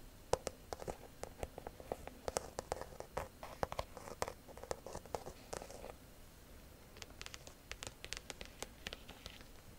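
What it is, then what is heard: Croc-embossed leather handbag. Long nails scratch and tap the textured front of a small, structured black croc-embossed handbag, likely faux leather, with a metal clasp bar. Quiet, dry rasping scratches with a hollow midrange body mix with sharp, bright clicks that stop dead without ringing. After a brief lull near the six-second mark, the sound becomes sparser, crisper taps.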